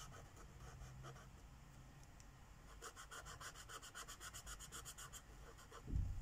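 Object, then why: Felt-tip marker on a paper page. A green Sharpie marker's felt tip rubs and scribbles in short back-and-forth strokes across a flat paper page of a mandala coloring book lying on a wooden table. Soft, dry scratchy strokes grow into a quick, steady run of bright rasping scrapes over a low hum, ending with a dull low thump.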